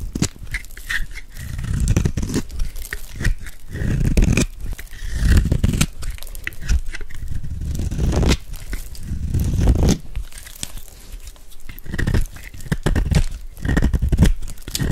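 A metal blade scrapes and carves shavings off a hand-held, dry, solid white soap bar with a gold glitter edge. The result is a steady run of dull, crunchy scraping and crumbling bursts, heavy in the low end with short, dry crackles and no ring.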